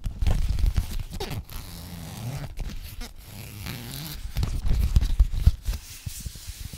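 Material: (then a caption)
Plastic. A frosted, translucent plastic Sephora zip pouch is zipped open and closed and scratched with long fingernails. The zipper makes dense, rough rasping runs with a heavy low rumble, broken by quick crinkly scratches and brief bright hiss. Louder zipping bursts open and close the clip around a quieter stretch of scratching in the middle.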